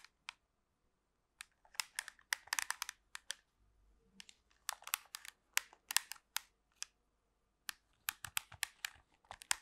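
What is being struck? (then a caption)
Plastic TV remote control. Long pink nails tap and scratch a black plastic TV remote control with a hollow casing, held close to the microphone. The sound is a quiet series of sharp, bright clicks and short scratchy bursts that come in uneven clusters separated by silent gaps, with no low rumble and almost no ring after each tap.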